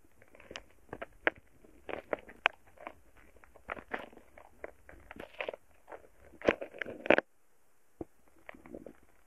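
A thin wooden stick repeatedly presses and pokes into a solid, soft mound of purple foam-bead slime (floam). It makes a string of crisp, crackly bead pops, with a brief pause and a few scattered pops near the end.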